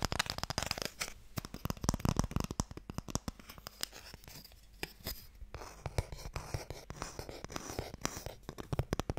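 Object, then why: Small wooden box. Fingernails tap quickly on the lid of a small, hollow wooden Mikado box, held first horizontally and then upright. The result is a dense run of dry, clicky taps with a low, hollow thump underneath, bright scratchy edges, and almost no ring after each hit.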